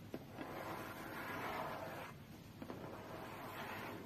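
Long fingernails tap and scratch the top of a closed, hollow, medium-sized white cardboard tablet box. Two sharp taps stand out, one at the start and one near the middle, each followed by a steady, dry scratching rasp. The scratching is soft and papery, with a slight hollow resonance from the box.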